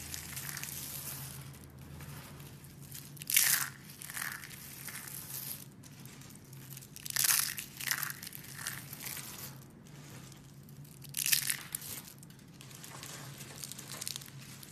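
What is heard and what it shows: A pile of dry purple and pink soap curls and flakes is crushed and rubbed between two hands with long nails, giving a steady bright, crisp crinkling and crunching. Three louder crushing bursts stand out above the softer continuous rustle, along with a faint low hum underneath.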